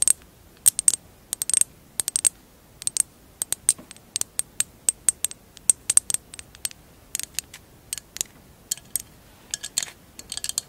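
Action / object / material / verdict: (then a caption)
tap / small glass jar with mosaic tiles / glass / none. Long acrylic nails tap the clear glass rim and mosaic-tiled sides of a short, hollow, empty glass jar. The result is a quick, irregular series of sharp, bright clicks and clinks with almost no low end. Each tap dies away almost instantly, and a few taps bunch into fast flurries near the end.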